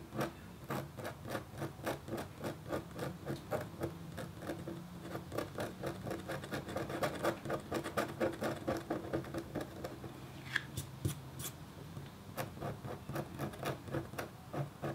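A red-handled, metal-tipped stylus scratches lines into a flat, thin, solid black-coated copper foil scratch art board lying on a table. Quiet, dry, short scraping strokes repeat about twice a second in an uneven rhythm, each one crisp and without ring. The stylus etches lines into the board.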